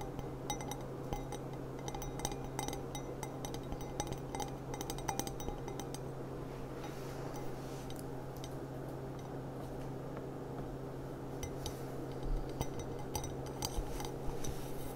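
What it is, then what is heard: Glass goblet tapped with fingernails. Long black-painted nails tap the bowl of an empty clear glass stemmed goblet with a gilt rim, which lies on its side or upside down. Bright, quick clinks ring briefly and come in clusters throughout, over a steady low hum.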